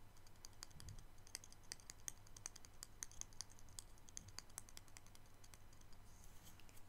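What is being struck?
Wooden paintbrush handle tapped with fingernails.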